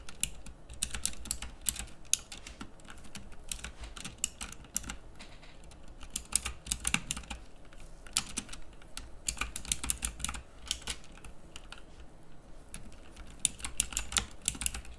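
Fingertips type at a slow pace on a pink plastic mechanical keyboard with round typewriter keycaps. Each press makes a short, bright click over a steady low hum, with the keystrokes arriving in uneven bursts and brief pauses throughout.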